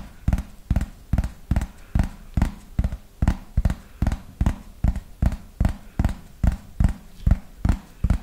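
Fingernails tap the surface of a thin yellow plastic frisbee held to the side, giving 22 short, dull, low-heavy taps in a slow, fairly even rhythm. Each tap dies away almost at once, with little ring between strikes.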